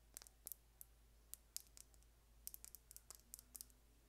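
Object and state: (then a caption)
Plastic lip gloss tube. Long painted nails tap a small, slim, light-colored hollow plastic lip gloss tube with a gold and blue cap, held in one hand. About sixteen quiet, sharp, bright clicks come in irregular clusters, each dying away at once. A faint, steady low hum sits underneath.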